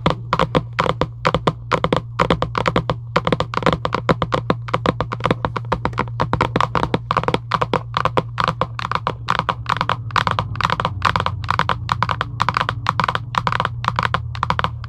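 Long acrylic nails tap and scratch the printed surface of a large, flat Giant UNO cardboard box lying on a table. About 79 quick, dry taps come in rapid bursts over a steady low hum, with soft scratching between them. Each tap is short and papery, with almost no ring.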